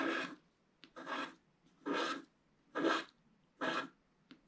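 A wooden stylus scratches the black coating off the center of a wax-coated scratch-art paper page held flat by one hand. Five long, raspy scraping strokes come at a steady, unhurried pace, with two short ticks between them. The sound is broad and dry, spanning low-mid to bright high frequencies.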